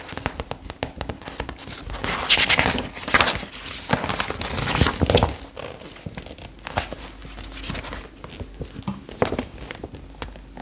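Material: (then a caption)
Paper. Long acrylic nails tap and scratch the colour pages of an open retro paper fashion magazine as it is handled close up. Dense crinkling and rustling paper sounds mix with sharp, quick nail taps, rising to louder crumpling bursts around the middle before settling into softer scratching.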